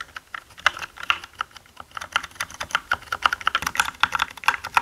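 Both hands type with their fingertips on a black mechanical gaming keyboard with plastic keycaps. About thirty quick, dry clacks arrive in an uneven, steady run, each with a bright, sharp attack and a hollow plastic tone centered near 1.2 kHz. Every keystroke dies away almost instantly.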